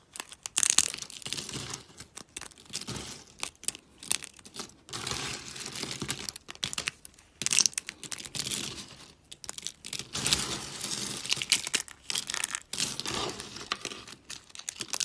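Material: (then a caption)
Soap. Thin, brittle flakes of dry soap in green, pink and teal are snapped and crushed between fingers with long nails. Dense bursts of bright, crackly crunching and crinkling come in quick waves, with short, dry snaps and almost no low end.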